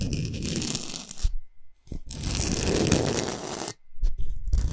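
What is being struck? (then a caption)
Rock salt block scratched with fingernails. Long nails scratch fast along the top surface and side edges of a large, flat, rectangular solid block of pink Himalayan rock salt. Dense, gritty scraping and crunching rasps come in sustained bursts with a heavy low rumble and a bright hiss, broken by two brief silent pauses.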